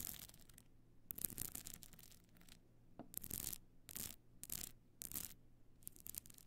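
Long nails scratch the pebble-chip covered face of a stone-chip covered box clutch standing on end with its frame slightly open. Repeated bursts of bright, gritty scraping rise and fall in short strokes over a steady low hum, with quiet gaps in between.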